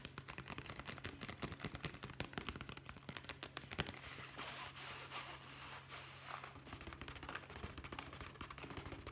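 Fingertips and nails tap rapidly on a small, hollow brown leather zippered pouch held horizontally, producing a dense stream of quick, dry clicks and soft thuds. A steady low hum runs underneath, and the tapping briefly gives way to a softer, rustling texture midway before the fast taps resume.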